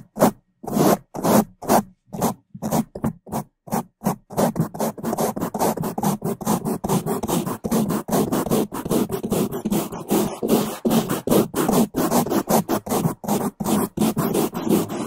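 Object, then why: Foam microphone windscreen. Two bamboo toothbrushes with white and blue bristles, held in gloved hands, scrub the top of a black foam microphone windscreen with fast scratching strokes. Loud, close, rough brushing noise with a low-mid body and bright hiss. Distinct strokes with short silences at first give way after about four seconds to a dense, nearly continuous run of rapid scrapes.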